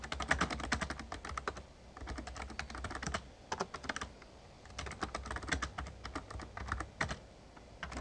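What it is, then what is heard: Plastic membrane keyboard being typed on. Fingertips of both hands rapidly tap the keys of an RGB-backlit plastic Razer Ornata Chroma membrane gaming keyboard with a hollow casing. Quick, short clicky clacks come in bursts separated by brief pauses, over a low steady hum.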